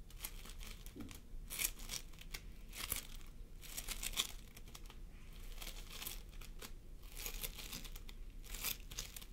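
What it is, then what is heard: Floam sculpting foam. Fingertips of both hands press and squish a pastel mound of floam sculpting foam made of polystyrene beads on a wooden table. Dense, bright crinkling and crackling pops come in quick bursts throughout, with a faint low rumble underneath.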